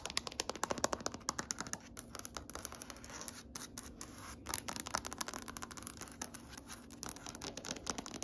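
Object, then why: Wood-grain floor. Fingertips and nails tap rapidly on a large, solid grey wood-grain floor, making a dense run of short, dry, bright clicks and light scratches. The tapping thins into a softer, quieter stretch in the middle before picking up again.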